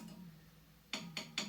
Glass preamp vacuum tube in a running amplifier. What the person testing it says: tap these, the preamp tubes, and you won't hear anything coming out of the speaker when I tap these